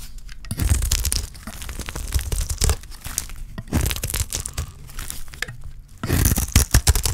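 A solid, dry green soap bar held in the hand is shaved with a utility knife blade. The result is a run of dry, crunchy scraping and tearing strokes with a deep low thump beneath them and bright crackly edges. The loudest bursts come near the start, in the middle and toward the end.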